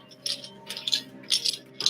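Four bright clicking rattles as a wrapped ceramic container is shaken, with small hard pieces loose inside.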